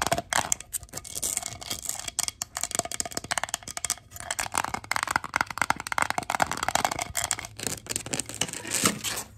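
A red glass three-wick candle jar filled with white wax lies on its side and is tapped and scratched by long gold acrylic nails. Rapid, dense clicks and bright scratching rasps follow one another with almost no ring, building in busy bursts throughout.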